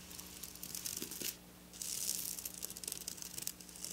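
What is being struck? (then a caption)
Silver sequin fabric scratched with fingernails. Long black nails scratch and rub across silver sequin fabric, making a dense, bright, crinkly rasp of rapid little clicks over a faint steady low hum. The scratching drops to a brief quieter lull partway through, then picks back up with sharper, spikier bursts.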